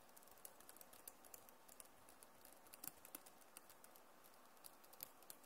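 Both hands type on a backlit Acer laptop keyboard with plastic keys, using fingertips and nails. About two dozen quiet, short, dry clicks with bright high ticks fall at an irregular pace over a soft, steady hiss.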